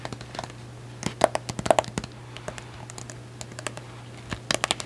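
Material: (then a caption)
Cardboard. Long acrylic nails rapidly tap and scratch across the solid silver glitter hardcover of a medium notebook. The result is a quick, uneven run of short, dry clicks with brief scratchy strokes, some clicks louder and brighter, over a steady low hum.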